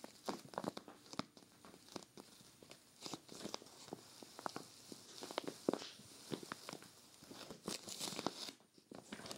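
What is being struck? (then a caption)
Clear plastic zippered storage bag holding a knit sweater. Long-nailed fingertips press, rub and scratch along the zipper edge of a clear vinyl zippered storage bag filled with a grey knit sweater. The result is a quiet, steady stream of soft plastic crinkles with sharp, bright scratchy clicks and brief rustling swells.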